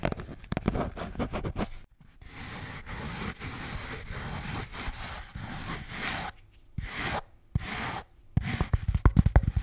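A blue Bintang beer can holder is tapped and scratched. Quick, low, dull taps in an uneven rhythm give way to a steady, breathy scratching with a few brief brushing strokes, then sharper tapping returns at the end.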